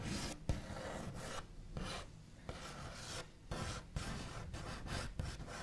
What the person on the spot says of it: Scratchy Tapping and Tracing on a Wooden Table with Backs of Nails